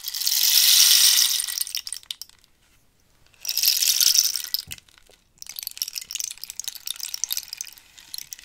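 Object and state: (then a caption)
Dried cactus rainstick. A long, hollow wooden rainstick made from dried cactus is tilted while long nails scratch and tap its ridged, holed wood surface. Two long swells of bright, rushing rattle rise and fade, followed by a stretch of quick, crisp, uneven taps and clicks with no low end.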